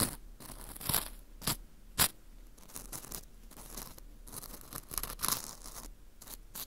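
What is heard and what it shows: A metal hook pick scrapes the inner wall of a dry, porous dried wheat gluten ring (fu) held in a gloved hand. Soft, bright crackling scrapes and crunches continue throughout, with a few louder, sharper scratches standing out.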